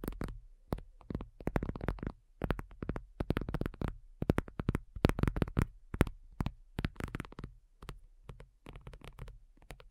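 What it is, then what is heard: Faux leather tablet cover. Long nails on both hands tap rapidly across a black folding faux leather iPad cover lying flat, its thin, hollow-backed shell giving each tap a deep, dull thump with a faint bright click. The taps come in quick, uneven flurries with brief pauses, each dying away almost at once.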